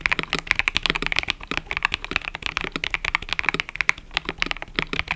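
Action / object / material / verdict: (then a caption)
tap / mechanical keyboard with plastic keycaps / plastic / none. Fingertips type continuously on a mechanical keyboard with cream and purple plastic keycaps. The result is a rapid, steady stream of short, bright clacks centered around 2.1 kHz that die out almost instantly, with very little low end.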